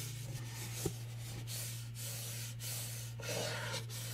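Fingernails scratch the rough teal glitter-coated lid of a small hollow cardboard gift box reading "HOORAY," held upright close to the microphone. The result is a continuous dry, gritty rasp in bright hissing strokes over a steady low hum, with one brief sharper tap early on.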